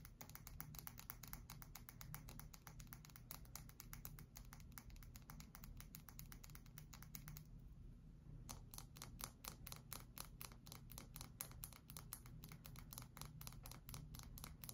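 A pale cream, palm-sized solid bar of soap is held upright in both hands and tapped and scratched with long acrylic nail tips. Rapid, crisp, bright clicking taps run almost continuously over a steady low hum, with a brief pause of about a second near the middle before the tapping resumes.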